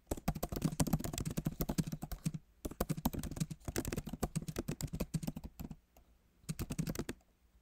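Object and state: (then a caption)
Laptop keyboard being typed on. Fingertips of both hands type on the backlit keyboard of a MacBook Pro, whose plastic keys sit in a solid aluminum body. Rapid runs of short, dry key taps come in bursts with brief pauses between them, and each tap dies away almost instantly.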